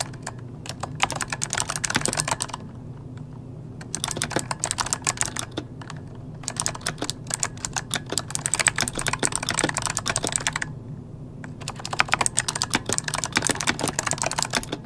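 Both hands type rapidly with their fingertips on an RGB-lit plastic mechanical computer keyboard with hollow key switches, resting on a desk. Four bursts of fast, bright, sharp key clicks are separated by brief pauses, over a steady low hum.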